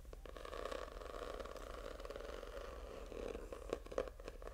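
A purple notebook with a faux snakeskin textured hard cover is held up and scratched with fingertips and short nails. The result is a steady, dry, rasping scrape centered in the midrange, with a few sharper ticks standing out near the end.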